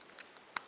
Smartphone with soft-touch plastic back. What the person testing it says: ça craque pas il y a pas de souci c'est vraiment très très bien fini